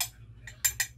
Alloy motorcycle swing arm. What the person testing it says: Hindi siya tunog lata mga lods. Tunog makapal siya.